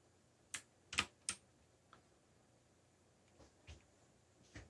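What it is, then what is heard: Plastic mechanical keyboard. Fingertips press keys on a backlit black plastic mechanical keyboard while typing. Three sharp, bright clicks come close together, followed by a few softer, scattered taps with very short decay. The overall sound is light and quiet.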